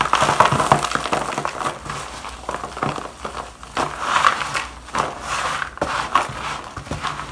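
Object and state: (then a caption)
Dry shaved bar soap being crumbled. Gloved hands crumble and sprinkle dry shavings of bar soap into a black plastic bowl. The result is a soft, dry crinkling and crackling in irregular bursts, with a papery midrange rustle and occasional sharper crisp ticks.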